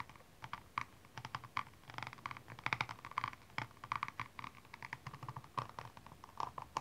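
The pointed tip of a makeup brush handle scratches across the small rhinestones covering a single hollow, empty blue high-heel shoe lying on its side. It makes quick, irregular bursts of dry clicking and ticking, bright and centred around 2 kHz, with each click dying away almost instantly. The clicks come in uneven clusters over a quiet background.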